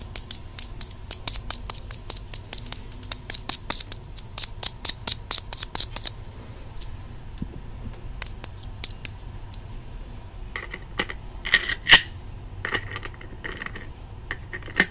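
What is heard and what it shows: Small metal coins clink together as a coin held in the fingertips is added and placed onto a stack of small metal coins resting on top of the microphone housing. Quick, bright, ringing taps come in a dense run over the first six seconds, then turn sparser. A louder clink lands near the 12-second mark over a low, steady hum.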